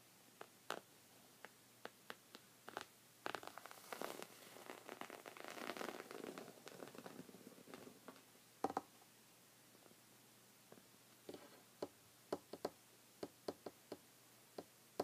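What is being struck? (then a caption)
Thick knit fabric rug. Short red fingernails scratch a thick, cream-colored, textured woven rug made of soft fabric. Quick, dry crackling scratches and scattered sharp ticks come first, then build into a denser rustling, scraping stretch through the middle. The sound then thins back to isolated crisp clicks over a quiet background.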